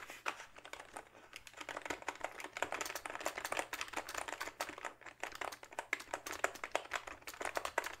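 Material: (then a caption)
Plastic. Fingertips type rapidly on a full-size plastic backlit membrane gaming keyboard held upright. The result is a steady stream of soft, dry plastic taps and clacks that stop almost instantly, centered in the mids with some bright edge.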